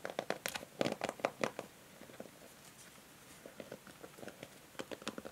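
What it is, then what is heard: Plastic hair brush. Long nails tap and scratch the bristles and the edge of a pink and grey plastic hair brush. Quick, dry plastic clicks and scratchy crackles come in an irregular patter, loudest in the first second and a half, then softer before a few sharper taps near the end.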